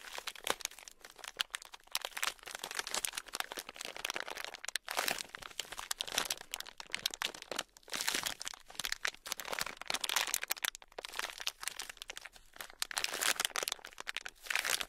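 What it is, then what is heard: Foam bead clay being squeezed. A palm-sized, solid red block of foam bead clay (floam) packed with tiny polystyrene foam beads is held in both hands while fingertips squeeze, bend and knead it. This produces dense, bright, crunchy crinkling and crackling with almost no low end. The sound comes in continuous bursts with brief quieter gaps.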